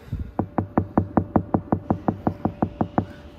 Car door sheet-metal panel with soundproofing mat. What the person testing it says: extremely solid, a massive difference